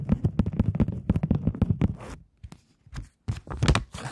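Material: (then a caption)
Polymer plastic. A plastic polymer £20 banknote is held flat and flicked, tapped and snapped taut with long nails. A rapid run of dry, crisp ticks and crinkly snaps gives way to a near-silent pause with a few soft taps, then a brighter, crackly burst of snaps at the end.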